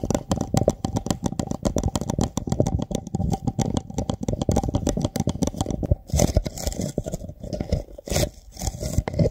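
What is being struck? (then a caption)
Small glass jar. A small, clear glass jar, mostly empty with a few small items at the bottom, is held in both hands right over a microphone while fingertips tap and rub its sides. The result is a dense run of quick, close, bassy taps and scratchy rubbing, with bright crackly scrapes in the later part.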